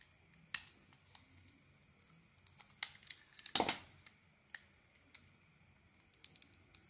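A solid bar of soap with a camouflage-patterned coating and a green interior is held in the hand and sliced and scraped with a metal blade. Quiet, crisp, bright clicks and short scraping cuts come at irregular intervals, with one louder, longer scrape near the middle. Each sound dies away almost at once.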